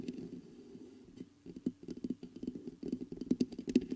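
Fingertips tap the body of a black metal USB microphone and then scratch its mesh grille. The sound is quiet, dull, low-mid tapping and rubbing that comes in irregular bursts, with each tap dying out almost instantly. A few sharper, brighter scrapes stand out near the end.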